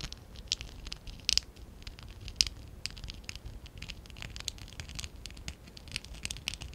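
A small, hollow stack of pink and dark blue ABS plastic Lego bricks from a Lego Classic 11017 set is held in both hands while fingertips and short nails scratch and rub the bricks. The result is a quiet, bright patter of dry scratching and light plastic clicks with no ring, broken by a few sharper ticks.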